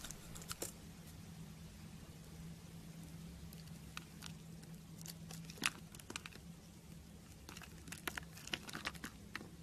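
A small blade scores a palm-sized, solid green bar of soap held in the hand into a grid and slices it, dropping thin strips onto pink shavings. Quiet, crisp crunches and bright clicking ticks come in scattered bursts over a steady low hum, with the sharpest cuts near the middle and end.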